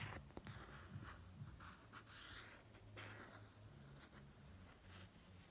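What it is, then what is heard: Printed hardcover notebook cover. A fingertip traces and rubs over the face design on the pop-art printed hard cover of a notebook lying on a bedspread. The result is a quiet, uneven run of soft, dry scratchy swishes with bright hiss. A low, steady hum sits underneath throughout.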